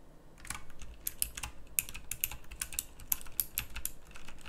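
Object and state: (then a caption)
Mechanical keyboard with round plastic keycaps. A full-size backlit pink mechanical keyboard with round plastic typewriter-style keycaps is typed on with the fingertips. Sparse, clicky key presses come through as sharp, bright clicks with almost no ring, over a low background rumble.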